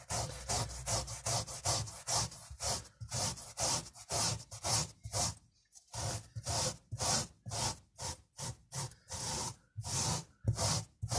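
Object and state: Miniature fabric carpet being scrubbed.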